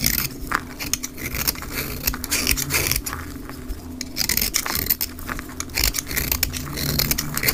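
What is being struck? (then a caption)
Soap bar scraped with a blade. A black snap-off utility blade scrapes and shaves a solid, rectangular, olive-green dry soap bar held in the hand into fine, crumbly shavings, sped up to double speed. Dense, bright, crackling scrapes and rasps come in quick, overlapping strokes over a faint low rumble.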